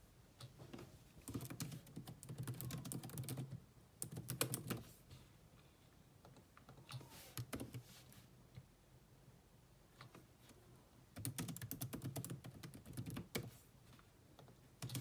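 Two hands type on a grey laptop keyboard with black plastic keys, using long nails and fingertips. Bursts of quick, bright clicking taps with a soft low thump come in several runs of a few seconds each, separated by quieter pauses.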